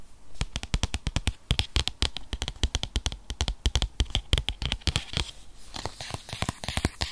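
Fingernails tap quickly across the front and edges of a rigid, tablet-sized white paperboard box that holds an iPad 8th generation (2020). Each tap is a short, dry click with a low, hollow thump and a bright edge. Toward the end, the taps give way to a brighter, crackling scratch.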